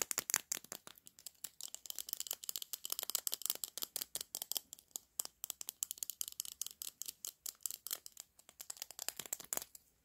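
Fingertips and short nails tap and click at a small hollow lipstick tube with a pink-orange plastic body and a clear plastic cap, held in both hands. The result is a quiet, rapid, irregular stream of dozens of dry, bright plastic clicks with no low end and almost no ring.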